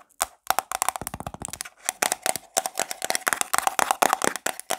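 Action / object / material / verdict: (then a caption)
tap / small plastic jar with lid / plastic / none. Long black nails tap and scratch the printed lid of a small round black plastic jar of got2b forming paste held in the palm. Rapid, sharp clicky taps come in fast bursts, with bright scratchy rasps and a faint hollow tone around 770 Hz. Each tap dies away almost instantly.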